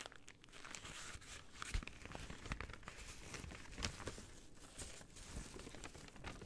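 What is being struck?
Paper bag.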